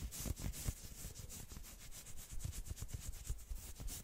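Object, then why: Knit fabric sweater sleeve. Long nails scratch fast along the forearm of a dark red and black knit sweater sleeve held out across the body. The result is a continuous stream of quick, scratchy rubbing strokes, with a bright fabric hiss over soft low thumps.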